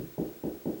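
Three dull knocks on a drywall ceiling over a wood joist. The low, short thuds sound solid where the joist sits behind the drywall.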